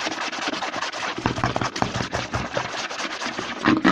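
A white plastic CeraVe lotion bottle, held upside down, is tapped and scratched on its front and back with fingertips and short nails. Quick, dense hollow taps blend with a bright, continuous scratching rasp, and the level swells slightly toward the end.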